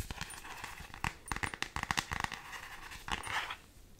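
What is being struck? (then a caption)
Thin plastic phone case. Long fingernails tap and scratch an empty, thin black plastic iPhone X case with a space theme and planet prints. Quick, dry clicks and taps come in uneven bursts between soft, bright scratching, with a short rasping scrape near the end.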